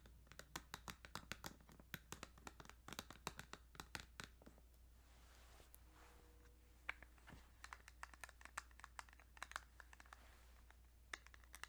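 Fingertips tap rapidly on a plastic Kirby's Dream Land 2 Game Boy cartridge, making bursts of quick, dry clicks that stop sharply with no ring. Midway the tapping eases into a soft scratching brush before the clicks return, all over a faint steady low hum.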